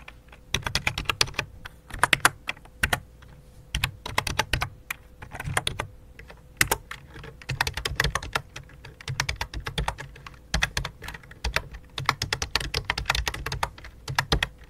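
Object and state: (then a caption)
Plastic computer keyboard. Fingertips with dark nails type on the main keys and numpad of a full-size white and light-blue plastic computer keyboard with a hollow plastic body. Bursts of quick, dry, bright clacks with a hollow low thump come in uneven runs separated by short pauses, over a faint steady hum.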